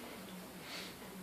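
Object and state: Nothing is struck.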